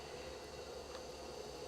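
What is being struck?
Nothing is struck.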